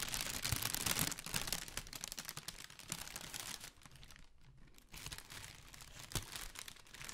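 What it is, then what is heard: Tissue paper honeycomb ball. Long pink nails and fingertips scratch and crinkle the folds of a large, pale pink tissue paper honeycomb decoration ball, hollow and light, held close to the microphone. The result is a dense, bright, papery rustle of crackling and crunching, loudest at the start, with a brief quieter lull in the middle before the scratching picks up again.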